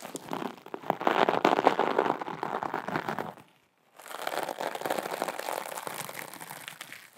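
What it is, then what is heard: Glitter fabric pouch being scratched and crinkled. A small, flat, soft teal glitter fabric pouch is scratched and crinkled between long acrylic nails and fingertips. Dense, crackly crinkling and scratching fills the mid and upper range, with no low end. It breaks off into a short silence just past the halfway point, then resumes a little softer until the end.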